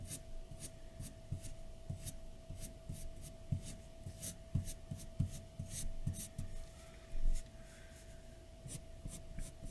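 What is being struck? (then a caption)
Graphite pencil on a paper sheet. A graphite pencil tip, held in the fingertips, makes short scratching and shading strokes on a large white paper sheet lying flat on a dark desk. Soft, dry scratches and rubbing strokes come in quick bursts over a steady faint hum, with one slightly louder scrape near the end.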